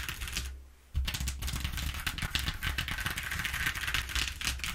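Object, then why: Corrugated cardboard sheet. Long nails on both hands tap and scratch quickly and densely across the exposed ridges of a flat brown corrugated cardboard sheet lying on a wooden table. After a brief quieter gap near the start, the sound becomes a rapid, crackling, bright clatter over a steady low hum.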